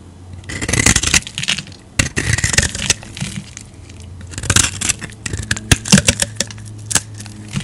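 A metal utility-knife blade scrapes across the face of a solid yellow square bar of soap held on the palm, shaving off thin curls. Bright, crackling scraping strokes come in uneven bursts over a faint steady low hum, each stroke stopping dry with almost no ring.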